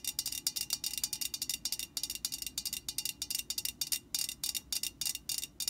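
Long painted nails of both hands tap and scratch the printed side of an upright Static Guard aerosol can, a hollow metal can. About thirty quick, bright, clicky taps come in rapid uneven bursts, each dying almost instantly with little low end, mixed with thin scratchy rasps.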